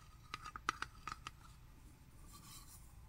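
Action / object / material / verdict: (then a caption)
tap / metal tuna can / metal / none. A small sealed, presumably full Wild Planet metal tuna can, with a paper label and a yellow-rimmed lid, is held in both hands and turned while short manicured fingernails tap and scratch its lid and side. Seven quick, quiet taps each give a short metallic tick ringing near 1.26 kHz and dying almost at once. A faint, bright, airy scratch follows against a low background hiss.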